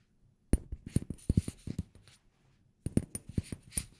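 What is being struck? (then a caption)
Small glass bottle with plastic cap. A small amber glass cosmetic bottle with a black cap and white label is held in one hand near the microphone while fingertips and nails tap the glass and the cap. Short, dull, low taps come in an uneven quick run, then stop briefly before a second run, each tap carrying a faint high tick.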